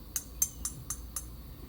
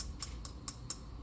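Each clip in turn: First: Five light taps with bright, high ticks and brief metallic sparkle: a metal-crowned fairway wood head that sounds pingy. Second: Four quiet, short taps with a brief high click and almost no ring, a muted plasticky sound.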